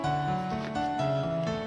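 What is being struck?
Nothing is struck.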